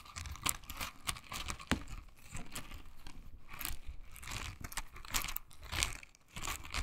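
A pink silicone bristle scrubber is held in both hands, squeezed, and its bristles are scratched with long nails. The result is dry, crackly scratching and crinkling with short bright clicks over a soft low rustle, coming in uneven bursts.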